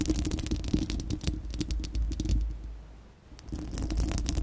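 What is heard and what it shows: Long acrylic nails on both hands scratch a bare, round, hollow dome-shaped steel-mesh microphone grille. Dense, rapid scratchy rasps with deep rumbling thuds and bright clicky ticks fade to a quiet lull around three seconds, then return at full strength.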